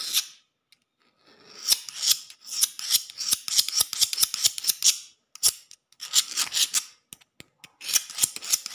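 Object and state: Solid concrete floor.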